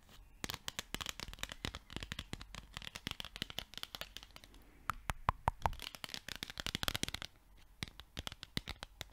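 A small yellow pad of paper sticky notes is held in the hand while its sheets are peeled, flicked and rubbed with long nails. The result is a dense run of sharp, dry paper clicks and ticks over a bright crinkly rustle, with a few louder snaps in the middle and brief quieter pauses between bursts.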